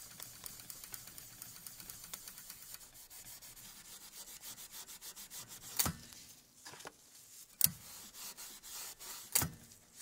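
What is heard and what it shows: A gloved hand rubs and brushes over the top mechanism of an ultra rare 1908 antique typewriter frame of black-painted metal with exposed steel parts, resting on a table. Quick, bright, scratchy rubbing strokes give way to softer, hissing scrubbing, broken by three sharp, short metallic knocks.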